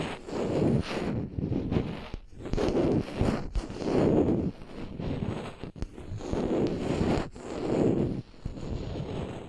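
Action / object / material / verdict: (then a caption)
scrape / wooden makeup brush handle / wood / none. Long nails tap and scratch a solid, flat, light-wood makeup brush handle that rests on the microphone. The result is a muffled, close scratching sound that swells and fades in slow waves, with sharp taps between them. Most of the sound sits in a low-mid rumble, with only faint high ticks.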